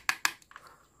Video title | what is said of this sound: cara membuat terminal stopkontak | kalau diketok beda ya untuk suaranya ya. Ini kan agak gimana gitu ya, ini agak biasa lah, lentur-lentur gitu